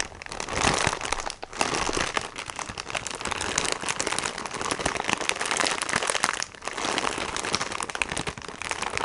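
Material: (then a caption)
Plastic film. A filled plastic sponge package, held in both hands in front of the chest, is tapped and scratched with fingertips and nails. It gives a dense, bright crinkling and crackling of plastic with rapid soft taps, nearly continuous apart from brief dips around 1.5 and 6.5 seconds.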